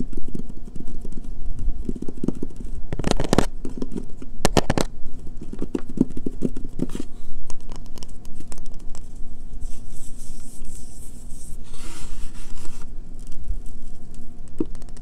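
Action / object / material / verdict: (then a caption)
tap / bar of soap / soap / none. A solid, pale green bar of soap sits on a table and is then held while fingertips and nails tap and scratch it quickly, making dense, dry clicks and scrapes with low thumps and brief bright bursts. At the end, soap shavings are crumbled and dropped from the hand with a soft, grainy crackle.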